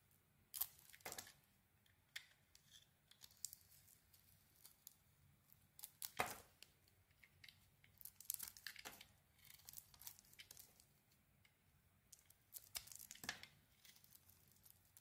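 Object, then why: Bar of soap. A metal utility blade carves and shaves a solid pink bar of soap, making quiet, dry, bright scraping and crisp tearing strokes in irregular bursts. A few sharper, louder cuts stand out among the soft shavings over a faint low hum.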